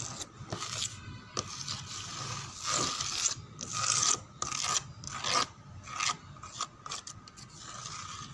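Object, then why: Wooden door panel. Long fingernails scratch across a dark brown grained wooden door panel, making bright, raspy scraping strokes in uneven bursts. A faint steady tone runs underneath the scratching.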